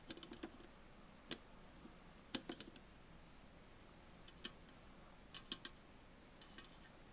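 Fingernails tap on the side and top of an upright Tully's aluminum coffee bottle can, giving about fifteen quiet, sharp clicks in scattered bursts and single taps. Each tap is brief and bright with a faint low-mid ring near 250 Hz that dies away almost at once.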